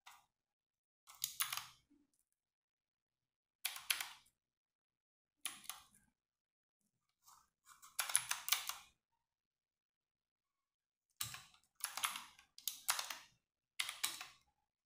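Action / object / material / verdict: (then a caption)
tap / plastic mechanical keyboard / plastic / none. A compact 60% RGB-backlit mechanical keyboard with plastic keycaps is typed with fingertips and long nails in sparse key presses. Short bursts of bright, crisp clacks and nail taps come in small clusters, each dying away almost instantly. Stretches of near silence fall between the clusters.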